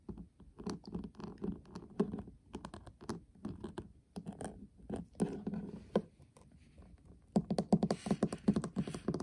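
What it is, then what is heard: Metal tin eyeshadow palette. A flat, hollow metal tin eyeshadow palette with a pink printed lid and gold rim is tapped on the lid with a fingertip, then with several fingertips while it lies on a table. Soft, hollow, low taps patter in quick, uneven runs. Near the end they turn into a louder, denser flurry with a brighter edge.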